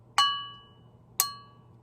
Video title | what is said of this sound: Great Gifts Static Sale | you heard the ding when I tapped it with this so Crystal